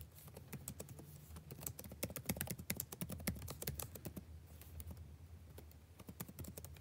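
Fingertips tap slowly and lightly on the plastic keys of a backlit laptop keyboard. Soft, quick, dry clicks come one after another with bright, short edges and no ring, over a steady low hum.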